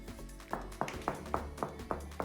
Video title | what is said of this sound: We fixed the DEBONDED tiles cheaply : How to Fix LOOSE bathroom tiles | it sounds like this when it's good